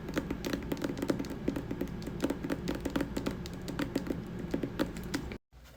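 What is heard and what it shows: Fingers tap rapidly on a hardcover poetry book, *The Rose That Grew from Concrete* by Tupac Shakur, making dense, dull, low-pitched knocks with almost no ring. The tapping runs steadily for about five seconds, then cuts to near silence, and faint quieter sound follows.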